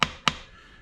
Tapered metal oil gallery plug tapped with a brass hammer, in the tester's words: when you hear that tone change uh it's very solidly in place